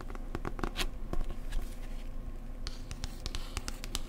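Fingertips and nails gently tap the glossy card cover of a thick paperback travel book held upright. A quick, uneven run of soft, dry clicks and light scratchy taps sounds over a low, steady hum, each tap dying away almost instantly.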